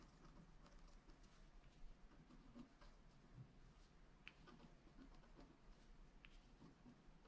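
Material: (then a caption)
Wax-coated paper. A wooden stylus scratches and dots the coating of a flat black scratch art card (wax-coated paper) lying on a table. The result is a quiet, continuous patter of soft, dry scraping with brief, faint ticks over a steady low hum.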